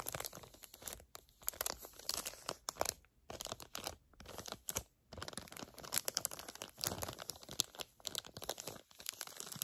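Long nails crinkle and squeeze a flat plastic package of gel eye pads. Dense, bright, crackling crinkles come in quick bursts with a few short pauses, each sound dying away at once.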